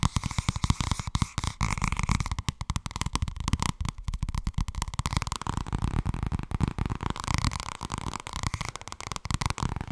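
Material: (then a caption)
Paper. Long red nails tap rapidly on the cover of a thin purple softcover paperback made of solid paper, and fingers riffle through its pages. The result is a dense, fast run of short, dry taps with a heavy low thump and a steady papery rustle continuing underneath.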